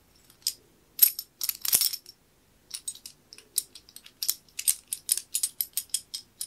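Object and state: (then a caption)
Antique metal key worked in a brass keyhole plate. A small old solid metal skeleton key, inserted through a worn brass keyhole escutcheon plate held in the hand, is turned and worked with the fingertips. Bright, high metallic clicks and short scrapes come in quick, uneven bursts with a brief pause near the middle, and each dies away almost at once with no low end.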